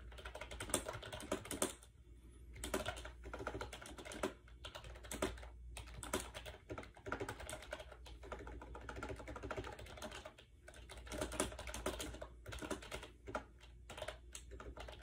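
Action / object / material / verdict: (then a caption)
tap / plastic keyboard keys / plastic / none. A compact gray plastic AJAZZ 308i wireless Bluetooth keyboard with round keycaps and a hollow shell rests on a bed while its keys are pressed rapidly with the fingertips. The result is a steady stream of quick, light, hollow plastic typing taps with short pauses, over a low background hum.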